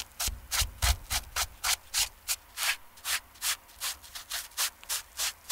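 A foam sponge brush on a wooden handle is rubbed over the dry canvas upper of a TOMS slip-on shoe to fluff the fabric. About 19 quick, fairly regular bright brushing strokes are heard, each a short airy swish with little low end.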